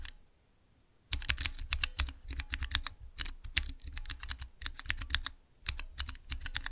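Fingertips press the transparent keycaps on a small clear acrylic Cherry MX mechanical keyboard switch tester. After about a second of silence, quick bursts of short, bright clicks come in, each with a low thock underneath. Brief pauses split the runs of presses, and each one stops almost instantly.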